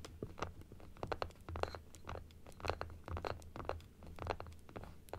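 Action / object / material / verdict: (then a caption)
tap / plastic dental teeth model / plastic / none. A small hollow plastic dental model with white plastic teeth, pink gums and a blue frame is tapped rapidly on the teeth with long acrylic nails, first while it sits on its stand and then while it is held upright in both hands. The result is a quick, uneven stream of dry, crisp plastic clicks with short scratchy edges and almost no ring. A steady low hum runs underneath.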